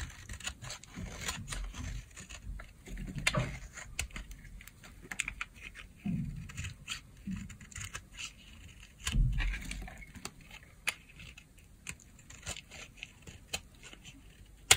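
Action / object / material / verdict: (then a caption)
scrape / bar of soap cut with a blade / soap / none. A blade cuts grooves into a solid peach bar of dry soap held in the palm, lifting curled shavings. It makes a steady run of short, crisp scraping clicks and brittle crackles with bright edges over a soft low rumble. Each cut ends almost instantly, with no ring.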